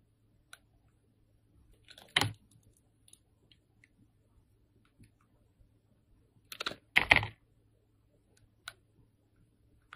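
A solid yellow bar of soap held in the hand is shaved with a steel utility knife blade, giving dry, bright scraping rasps. Two longer shaving strokes stand out among a few short, quiet ticks, for six sounds in all. A faint low hum sits underneath.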